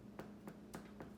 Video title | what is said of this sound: Pain Tutoriel Facile | il faut taper derrière et si ça sonne creux